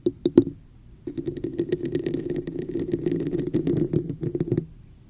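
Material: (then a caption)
Plastic. A hollow, textured red plastic cup with a raised pattern is held over the mic while long nails and fingertips tap and scratch its sides. Three sharp, hollow taps open the clip. After a brief pause, a dense stretch of rapid clicking taps and scratchy rubbing follows, with a hollow low-mid resonance. It stops just before the end.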